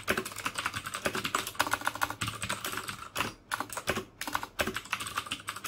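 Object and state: Plastic mechanical keyboard.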